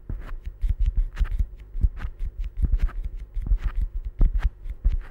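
A small, solid yellow rubber or silicone stress ball is held in the fingertips, squeezed and rubbed close up. It makes a steady run of soft, dull, low squishing thumps with faint bright rubbing squeaks. Each sound dies away almost at once.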